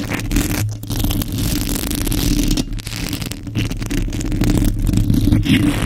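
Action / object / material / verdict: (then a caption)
scrape / metal mesh microphone grille / metal mesh / none. Long nails and fingertips scratch fast and aggressively across the hollow metal mesh grille of a microphone. The result is a dense, continuous scraping rustle with a boomy, low-heavy rumble and a steady low tone, and only faint high detail.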